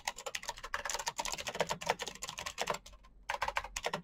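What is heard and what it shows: Fingertips type rapidly on a black plastic mechanical keyboard, producing a fast stream of short, bright clicking keystrokes. The typing pauses briefly near the three-second mark, then resumes at the same quick pace.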